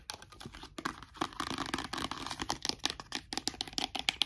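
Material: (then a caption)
Plastic. A small, partly full clear plastic bottle of micellar-type cosmetic liquid with a pink plastic cap is held in one hand and tapped rapidly with short fingernails. The result is a fast, uneven run of dry, bright clicks and taps that stop almost instantly, with very little low end and a sharp click centered near 3.2 kHz.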